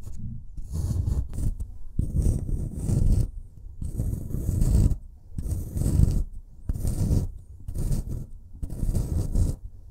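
A small metal pick tool in a gloved hand scrapes and chips at a solid white, brick-sized plaster block from a dinosaur dig kit. Repeated bursts of gritty, crumbly scraping are heard, heavy in the low end with a faint bright hiss, separated by short pauses. Crumbly plaster dust piles up as the block is worn away.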